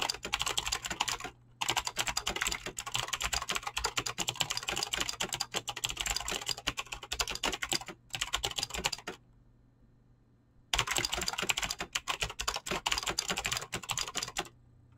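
Fingertips with short painted nails type fast on a full-size mechanical keyboard with Razer green clicky switches and pink-blue PBT plastic keycaps resting on a desk. A dense stream of sharp, bright clicks and clacks fills the clip, with brief pauses near 1.5 s and 8 s and a longer silent gap from about 9 to 11 s before the rapid typing resumes.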